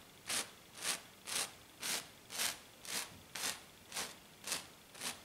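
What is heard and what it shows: Both hands with long black nails scratch a flat, silver glitter-coated sheet in ten quick, evenly paced strokes. Each stroke is a brief, bright, gritty hiss with almost no low end, separated by faint background noise.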